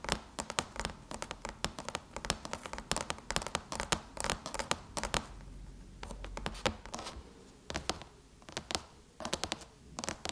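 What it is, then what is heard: Aluminum laptop lid. Long chrome-polished nails of both hands tap rapidly on the surface of a closed silver aluminum MacBook lid, a thin hollow shell over the laptop body. The result is a dense run of sharp, bright, clicky taps that die away almost instantly, mixed with light scratching and brief uneven pauses.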